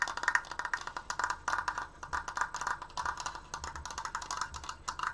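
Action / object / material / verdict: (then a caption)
tap / wooden triangular frame / wood / none. Both hands tap rapidly on the slats of a large stained wooden triangular Triforce frame, using long painted nails and fingertips. The result is a fast, continuous run of dry, bright wooden clicks and knocks with almost no ring and little low end.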